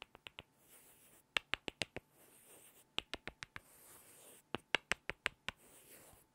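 Two small solid light-wood cubes held in the fingertips are tapped together in quick bursts of sharp, bright clicks, each dying away almost instantly. Between the bursts, the blocks are rubbed against each other with a soft, hissy scrape.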